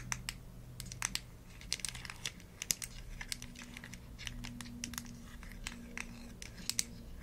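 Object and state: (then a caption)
Plastic supplement bottle tapped and scratched with nails. Long nails scratch and tap the gold-colored screw cap and paper label of a small, hollow green plastic supplement bottle. Quiet, crisp scratching is broken up by many sharp, bright taps that stop almost at once, over a faint low hum.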